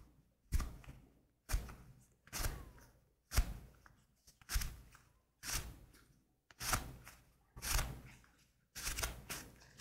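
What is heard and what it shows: Black leather gloves worn on both hands are clasped, rubbed and squeezed against each other up close. This makes about nine separate bursts of leather creaking and rubbing, each a quick swell of scratchy, bright friction over a low, soft body that fades before the next. The bursts come roughly once a second, with short silences between.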